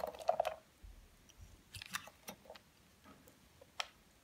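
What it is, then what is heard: Bar soap being shaved. A utility knife blade shaves and scrapes curls off a solid, oval, palm-sized white Dove bar soap held in one hand, in repeated strokes. About ten short, crisp, crunchy scrapes sound with a midrange tone around 700 Hz; the loudest burst comes at the start, then quieter, drier scrapes follow and a sharp bright click lands near the end.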